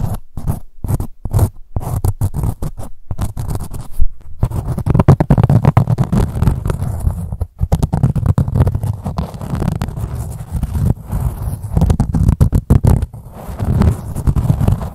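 Long nails scratch the ribbed fabric of a blue-grey corduroy pouch as it is held and tilted. Short bursts of dry scratching give way after a few seconds to a dense, continuous rasping that sits mostly in a low, rumbling register.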